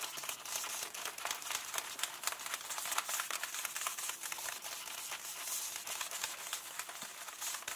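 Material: Paper.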